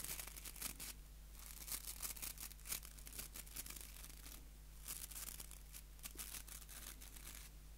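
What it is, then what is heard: Wooden nail brush with plastic bristles. A small solid wooden nail brush with white plastic bristles is held right at the mic while fingers scratch the bristles. The result is a quiet, crackly scratching with bright, dry bursts of noise. A steady low hum runs underneath.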